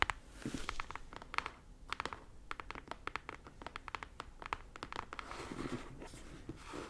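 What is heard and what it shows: Long acrylic nails scratch and tap across the flat face of a medium brown corrugated cardboard shipping box, closed and sealed with packing tape and held upright in both hands. Dozens of quick, dry clicks and taps mix with scratchy rasping over a hollow, papery body, with brief bursts of broadband scraping between the taps.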